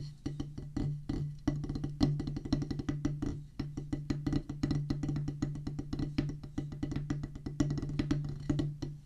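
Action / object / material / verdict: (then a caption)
tap / rubber practice pad on a wooden base, played with wooden sticks / rubber / none. Two wooden drumsticks drum fast on a solid oval practice pad with a black rubber top on a pressboard/wood base. The result is a rapid, steady stream of dry, short-decaying taps with a dull, low, woody tone around 145 Hz and very little high-end brightness.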